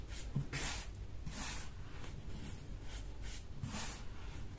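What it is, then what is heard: Baking soda powder being squeezed. Bare hands squeeze, crumble and rub a loose heap of peach-colored dyed baking soda powder on a marble-look surface. Soft, bright, hissing crunches swell and fade in repeated bursts over a steady low background rumble.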